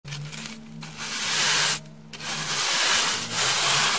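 A pink plastic brush with soft white bristles sweeps across a solid, porous rectangular slab of beige dry floral foam held in one hand. Three bright, airy scratching strokes rise and fall in loudness, separated by brief quieter dips, and a faint low hum sits underneath.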